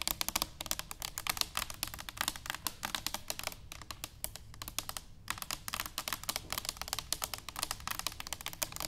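Long nails tap rapidly on an upright, hollow stainless steel cylinder canister, producing a dense stream of short, bright clicks. The taps die away almost instantly, over a faint low hum, with a brief pause near the five-second mark before the tapping resumes.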